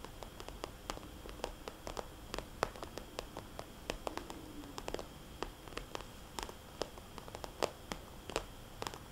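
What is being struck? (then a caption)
Plastic cosmetics bag. Long nails tap and trace over a small red polka-dot glossy plastic cosmetics bag with a paper price tag. Dozens of sharp, bright clicks fall in quick, irregular succession, with faint scratchy tracing and a low hiss between them.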